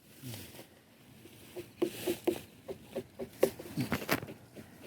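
A greenhouse watermelon is tapped by hand, giving a series of short, dull, muffled knocks with little ring, a sound that marks the melon as overripe.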